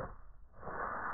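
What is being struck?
Nothing is struck.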